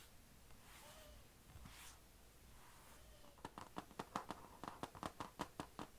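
Long nails lightly scratch, then tap near the chrome HP logo on a closed, thin, hollow, dark grey laptop lid with a painted plastic/metal shell. Quiet soft scratching and brushing fills the first three seconds, then about 14 quick, crisp, hollow taps follow at an uneven pace, each with a bright click and a very short decay.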